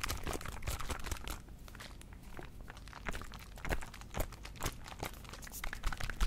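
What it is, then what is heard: Small plastic bottle with liquid, shaken. A small plastic Listerine mouthwash bottle filled with blue liquid is held in one hand and shaken side to side near the mic. It makes a dense run of quick crinkly plastic clicks and soft liquid sloshes over a low rumble. The sound eases off briefly in the middle before the shaking picks up again.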